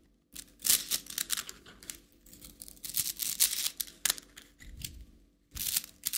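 A plastic rainbow slinky, a coiled plastic spring toy, is tapped on its collapsed coils with fingertips and nails, then stretched upward so the coils click. Quick, bright, crinkly clicks and rattling bursts come in uneven clusters with brief pauses between them, each one dying away almost at once.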